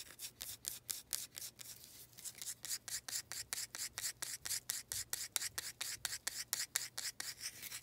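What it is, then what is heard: Wooden planter scratched with nails. Long nails rub and scratch a small faceted wooden planter with a knot, making 31 short, bright, raspy strokes in a quick, uneven rhythm. Each stroke is a dry, airy scrape with almost no low end, separated by brief near-silent gaps.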